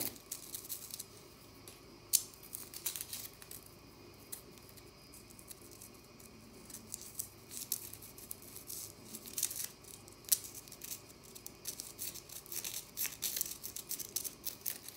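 Long nails scratch and flick at a small, crumbling bath bomb of solid compressed powder in the bath, leaving powder on the fingers. Quiet, bright, dry scratching and crumbling crackles come in bursts, with a few sharper clicks standing out.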